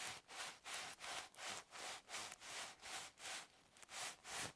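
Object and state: Plastic drinking straws rubbed together.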